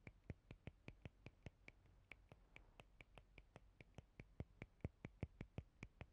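Long painted fingernails tap and scratch the edge and rounded nubs of a palm-sized, rigid, transparent plastic cellulite body brush with a hollow side. The result is a quiet series of about 29 short, sharp plastic clicks at an uneven pace. Each click has a brief bright tick and a low thud, over a soft scratchy hiss.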